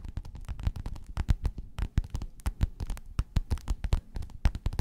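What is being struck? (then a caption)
Faux-leather fabric pillowcase. Long nails on both hands scratch and tap the surface of a folded gold metallic croc-embossed faux-leather pillowcase lying flat. The result is a rapid, irregular run of short, dull taps with deep low thumps and faint bright clicky edges, over a soft scratching rustle.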